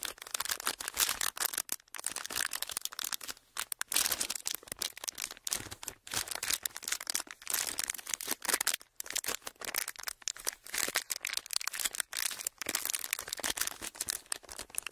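A small, empty piece of clear ridged plastic packaging is bent and crinkled between fingers and thumbs. It makes a dense, continuous run of sharp, bright crackles and snaps with almost no low end, each crackle dying away almost at once, and brief pauses between the bursts.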